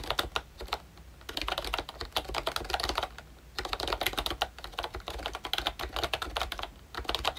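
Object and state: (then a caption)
Plastic membrane keyboard being typed on. Fingertips type quickly on a pink plastic ROYCHE Disney Mickey Mouse retro membrane keyboard with round keycaps and a hollow body. Its bright, short clacks and taps come in rapid bursts with brief pauses, each keystroke dying away almost at once.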